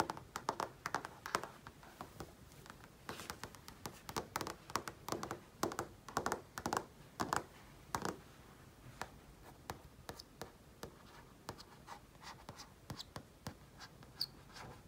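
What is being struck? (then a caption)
Flat-panel TV screen. Fingertips tap and trace across the surface of a large flat-panel TV screen. Quick, dry taps come in irregular bursts with a midrange knock, mixed with soft, light scratch-like tracing. The taps grow sparser and quieter toward the end.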